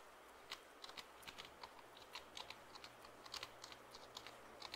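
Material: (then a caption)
Plastic. Fingertips tap and press the keys of a black plastic computer keyboard held upright near the microphone. The result is a quick, irregular series of soft, bright plastic clicks that die away almost at once over a faint steady hiss.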